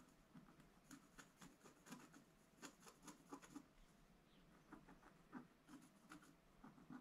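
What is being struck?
Wax-coated scratch art paper scraped with a wooden stylus.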